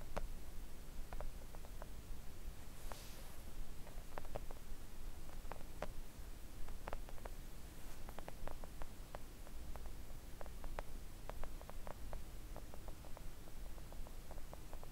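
A flat, thin pink silicone nail art mat lying on a table is gently tapped with long coffin-shaped press-on nails. It gives soft, quiet, short clicks that die away almost at once. A steady low hum sits underneath.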